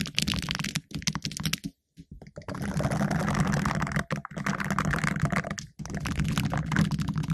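Two green silicone finger brushes worn on the fingertips scratch and rub the round, hollow black metal mesh grille of a condenser microphone. The result is dense, crackly scratching and rustling with a strong low, boomy body, close and loud. It breaks off in short silences around two seconds, just past four seconds and near six seconds.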